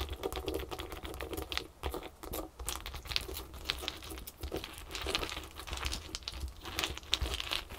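Long nails on both hands rapidly tap and scratch small solid ice cubes resting on a terry towel. The result is a dense, steady run of bright, sharp clicks and crisp scraping with no ringing after each hit, over a constant low rumble.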